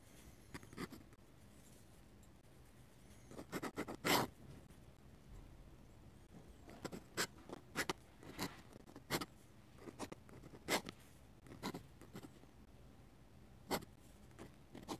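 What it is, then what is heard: Dip pen scratching on sketchbook paper. A metal-nib dip pen draws scratchy strokes on a paper page of a hardcover sketchbook. Short, bright scratching bursts come in irregular clusters, separated by quiet pauses with a faint low hiss between strokes.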